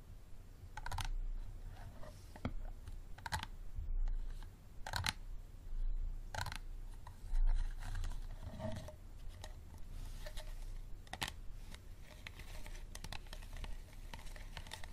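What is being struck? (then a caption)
Small plastic water bottle. Fingertips and nails tap on a small, empty, hollow clear plastic water bottle with a green cap, then grip and squeeze its sides. The result is a quiet run of short, dry clicks and crinkly taps, some sharper and brighter than others, over a low rumble.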